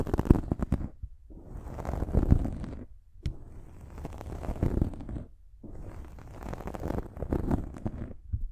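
Long nails scratch the top of a dark foam windscreen on a silver microphone, producing rough, low rumbling scratches in three bursts separated by short pauses. The sound is dense and close, with bright crackle riding over a heavy low-end rumble.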